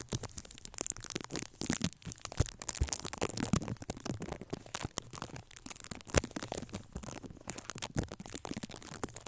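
Fingertips of both hands scratch and rub the black foam windscreen on a red Blue Yeti microphone, producing a dense, continuous stream of crackling, crunchy scrapes. Short, sharp transients come through with strong low rumble and bright edges.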